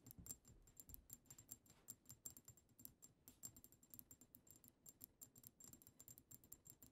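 Long acrylic nails on both hands rapidly tap the front of a pink-tinted glass perfume bottle labeled "Sweet Secret," up close. The result is a quiet, fast stream of crisp, clicky taps with a faint high glassy ping that dies away almost instantly.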